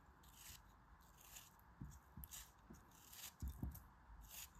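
A craft knife blade repeatedly scrapes and cuts a small solid lump of grey kinetic sand held in the fingers, making quiet, grainy scraping cuts as sand crumbles fall. Soft low thuds and brief bright rasps come in short bursts that die away quickly.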